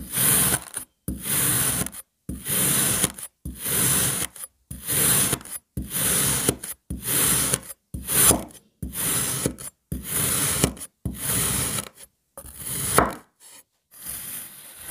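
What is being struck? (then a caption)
Molded block of kinetic sand cut with a serrated knife. A serrated metal knife is pressed repeatedly through a palm-sized solid block of red kinetic sand molded into an ice cream shape, slicing and scraping it into thin crumbly layers. Thirteen gritty, rasping strokes with a bright hiss are separated by brief silences, and the final strokes are quieter and more scattered.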